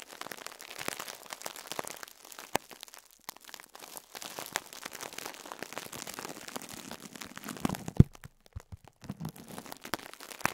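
A compressed foam sponge wrapped in clear plastic is pressed and crumpled by a fingertip. Dense, soft crinkling and crackling of the wrap runs throughout, with a few sharper snaps, the loudest near the eight-second mark. Many small crackles blur together rather than separating into countable hits.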